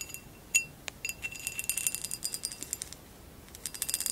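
Long acrylic nails tap and scratch the woven relief pattern of a hollow amber glass vase lying on its side. A quick, irregular run of sharp, bright glassy clicks and light scraping rattles over a faint hiss, with a short ring near 2.7 kHz that dies away almost at once.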